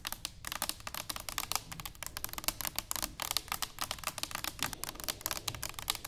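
Long fingernails on both hands tap rapidly and continuously on an upright, hollow stainless steel cylinder canister. The taps make a dense stream of bright, crisp clicks with almost no ring, over a faint low rumble.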